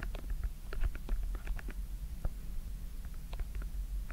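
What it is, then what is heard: Silicone bubble fidget toy being popped. Fingertips push and pop the hollow silicone bubbles, in yellow, green, pink and orange, on a small silicone simple dimple fidget toy with a white plastic frame. A quick run of soft, dry pops and clicks plays over a low, steady rumble. Each pop dies away almost at once.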